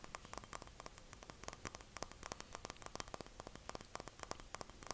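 A small glass jar is tapped and clinked in a rapid, irregular stream of quiet, sharp clicks. Each click dies away almost instantly, with a faint tone around 1 kHz, over a low background hiss.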